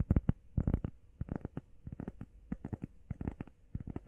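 Long painted nails and fingertips tap fast and scratch across a flat, solid, hand-sized grey textured EVA foam workout pad shaped like a heart. The taps come in quick, uneven bursts of short, dull, low-heavy thuds with soft scratchy edges. Each one dies away instantly with no ring.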